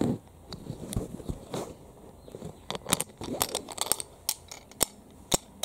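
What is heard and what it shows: A flat, solid, hand-sized yellow plastic keychain tag with a printed portrait and a steel split ring is held in both hands and tapped and handled with long fingernails. Soft rustling handling gives way to a quick series of sharp, dry, bright clicks and taps that stop almost instantly, with the metal ring possibly adding a faint high jingle.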